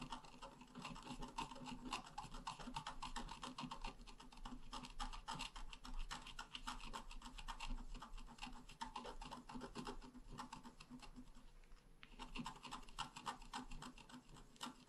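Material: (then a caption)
Coated paper. A wooden stylus scratches small strokes into a flower at the bottom of a thin, solid, flat black-coated scratch art paper card. The result is a steady run of quick, dry rasping scrapes, with a brief lull near the 12-second mark before the scratching resumes.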